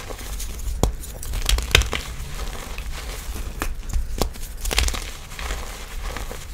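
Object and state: Crumbly gym chalk being crushed.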